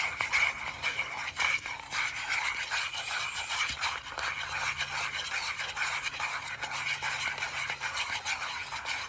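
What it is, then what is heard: Round metal tin. A small, palm-sized round metal tin with a gold and green lid, apparently hollow, is held in both hands while fingertips and nails tap and scratch its lid and rim. The result is a steady, bright, raspy scratching with light metallic taps and a faint ring around 2.3 kHz, with almost no low end.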